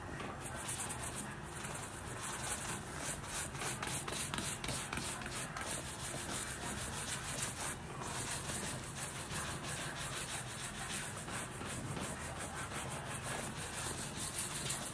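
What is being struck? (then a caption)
Textile boot upper scrubbed with a bristle brush. A small wooden-backed bristle brush is scrubbed in short strokes over the upper of a black textile Nike high-top boot worn on a foot, near the heel and side, during a deep cleaning. The result is a steady, continuous scratchy rubbing with a bright hiss and a faint rhythmic pulse from the quick strokes, holding an even level throughout.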